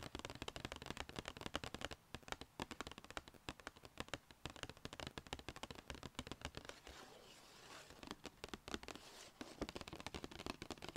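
Long red painted fingernails tap rapidly on the flat sides of a small, hollow, black-and-white striped Sephora paper gift bag held upright on a lap. The result is dense, crisp, papery clicks with very short decay. The tapping eases into a softer, hissy stretch around 7–9 seconds against faint wind before picking up again.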